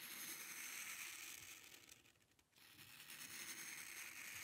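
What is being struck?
Paper sheet under a metal pen nib.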